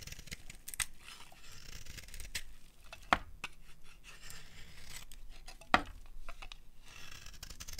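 A metal blade scrapes shavings and strands off the surface of a solid cream dry soap bar held in both hands. Soft, dry, crumbly scraping and rasping runs throughout, broken by a few sharp, bright clicks where the blade catches.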